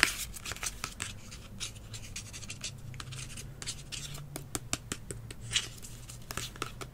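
A hollow medium green plastic kids' hair spray bottle with a blue nozzle, held in both hands, is tapped and scratched on its label side by fingertips and nails. The result is a quiet run of short, dry, bright clicks and scratchy rustles over a faint low hum.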